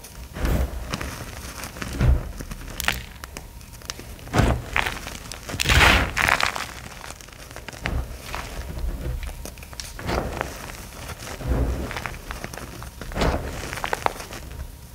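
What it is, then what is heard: Dyed gym chalk being crushed by hand. Bare hands scoop, squeeze and crush solid, dry chunks from a large loose pile of crumbly, pastel-dyed gym chalk (magnesium carbonate) between fingers and palms, letting powder fall. The result is a series of crunchy, crackling crumbles with dull low thumps. Softer gritty rustling fills the gaps between the louder crushes.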